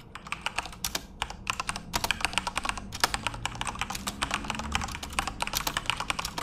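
Both tattooed hands type rapidly with their fingertips on a full-size RGB-backlit Corsair mechanical keyboard with plastic keycaps, in a dark room. A fast, uneven stream of sharp, bright clicks rings out, each dying away almost instantly over a soft low rumble. The taps run steadily for the whole stretch without stopping.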